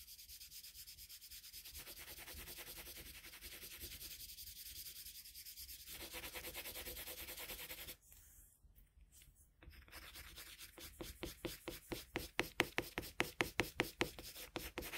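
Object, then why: Colored pencil on drawing paper. A colored pencil tip is rubbed over a flat sheet of drawing paper in long shading strokes, producing a steady, bright, scratchy hiss for the first eight seconds. After a brief, quieter pause, the rubbing resumes as a series of quicker, separate strokes that grow louder toward the end.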